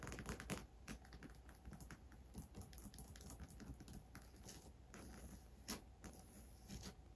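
Long grey acrylic nails tap and scratch the top brown leather trim and coated canvas body of a medium Michael Kors monogram handbag with brown leather handles, hollow and partly filled. Quiet, rapid, dry clicks and scrapes patter unevenly over a steady low hum, each tap dying away almost at once.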